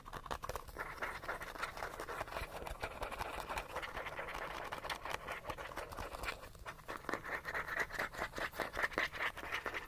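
Short fingernails quickly scratch the base and sides of a small, hollow, cylindrical gold-yellow plastic sunscreen bottle held at the edge of the frame. The result is a dense, continuous stream of rapid dry scratches with a hollow, bright tone centered near 1.8 kHz. The scratching grows slightly louder and more distinct toward the end.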